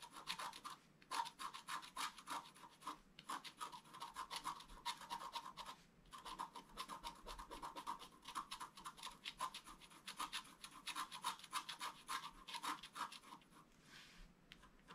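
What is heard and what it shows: A thin wooden stylus scratches across a flat black-coated scratch-art card in quick, dense back-and-forth strokes. Each stroke gives a dry, bright rasp with a thin tonal edge near 940 Hz. The scratching runs steadily for the whole clip, broken only by short pauses.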